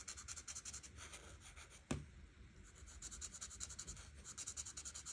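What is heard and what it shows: A hand with red nails rubs the fine tip of a large white marker along the edges of the pattern on a thin printed paper coloring page lying flat on a table. Quick, repeated scratchy strokes make a bright, hissing rub, with one sharper tap near the middle. The strokes then settle back into a steady rhythmic scratching.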